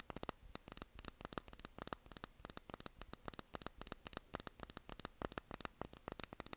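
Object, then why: Small glass candle jar with cork lid. Long nails tap rapidly on a small glass candle jar filled with blue wax, its cork lid on. A quick, irregular run of dozens of crisp, bright clicks, each dying away almost at once, sits over a faint low hum and hiss.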